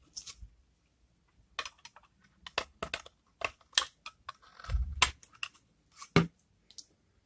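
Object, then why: Bar of hardened soap. A utility knife blade scrapes shavings off a thinned-down, dried, rancid bar of hardened cream soap held in the hands. The result is an irregular series of short, dry, crisp scraping crunches, bright and brief with no ring. A duller, fuller scrape with a low thud comes about two-thirds of the way through.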